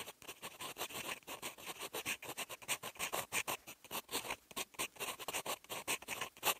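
A fountain pen's steel nib writes in green ink across a sheet of lined writing paper. It makes a rapid run of short, separate, dry scratching strokes that are bright and crisp, with almost no low end. Each stroke stops quickly with no ring.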